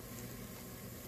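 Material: Nothing is struck.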